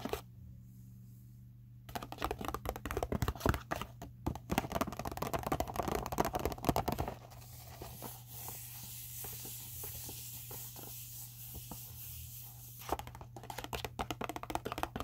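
Long acrylic nails tap, scratch and crinkle a medium-size, hollow pink polka-dot paper gift bag with rope handles, held up in the hands. After a quiet start, dense crisp taps and crackling crinkles build, then ease into a softer, steady papery rustle before sharp taps return at the end. A low, steady hum runs underneath throughout.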